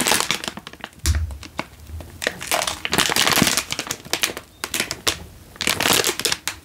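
A single full Indomie instant noodle packet in a crinkly plastic wrapper is held in one hand and crinkled with the fingertips. Bright, crackling crinkles come in bursts separated by brief quieter pauses, with a few louder crunchy swells.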